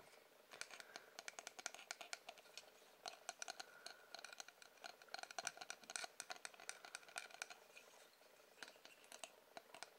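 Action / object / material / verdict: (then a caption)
tap / small flat painted wooden figurine / painted wood / none. A small, flat, solid painted wooden figurine of a sailor girl in a blue dress is held in the hands and tapped and scratched with fingertips and short nails. The result is quiet, rapid, bright clicks in uneven bursts, each dying away almost instantly, over a faint scratchy hiss.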